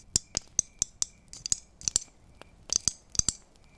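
Christmas tree ornaments are tapped one after another, giving about a dozen short, bright clicks in an uneven rhythm. Each tap is a crisp high-pitched tick that dies away almost instantly.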